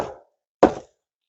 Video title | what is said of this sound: How I choose wood, for bushcraft or fire | tap it with the ax sounds solid